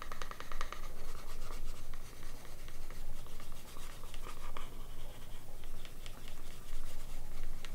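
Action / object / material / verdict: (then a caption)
scrape / thin leather panel edge rubbed with a wooden slicker / leather / none. The edge of a small, thin, solid piece of green vegetable-tanned leather, held in one hand, is burnished by rubbing a grooved wooden edge slicker back and forth along it. The result is a steady, rhythmic rubbing and scratching with short bright scrapes over a dominant low rumble.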